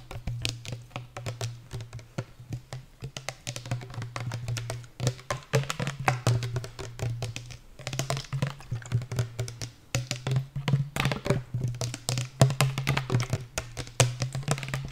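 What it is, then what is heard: Plastic sport bottle. A pink translucent, hollow, medium-size plastic sport bottle is tapped rapidly along its body with long nails. The result is a dense, continuous stream of sharp clicks over a steady low hum.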